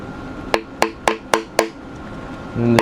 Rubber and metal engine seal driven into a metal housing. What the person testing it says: tap it till you hear that sounds like you're making contact and the seal's flush with it